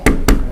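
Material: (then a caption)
Wood. Two knocks on the real wooden stock of an INL AK-74N airsoft rifle, not plastic imitating wood grain. Each gives a short, dull low thud with little high-frequency content. It sounds solid rather than hollow like plastic imitations.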